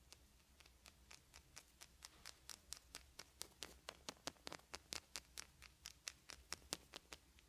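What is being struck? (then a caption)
Small wooden beads. Fingertips pick at and shuffle small wooden beads in a pile on a fuzzy blanket. About thirty quick, bright, dry clicks tick along in a loosely irregular stream, each dying away almost instantly, and they grow slightly louder and crisper as the shuffling continues.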